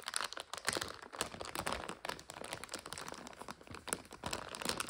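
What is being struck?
Plastic bag of dry noodles.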